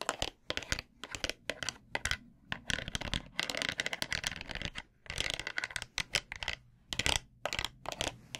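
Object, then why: Wooden massage brush with pins. A small plastic hand scratches and taps the wooden pins and polished wooden back of a bamboo massage brush held in one hand. The result is a rapid series of dry, bright scratching and tapping bursts with no ring, broken by brief pauses.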